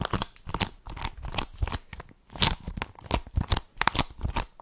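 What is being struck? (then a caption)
Plastic game case. Long nails tap and scratch the surface of a hollow plastic Nintendo Switch game case as it is turned between front and back. Quick, dry, bright clicks and rasping scratches come in short bursts with almost no ring, with a brief quiet pause around the middle.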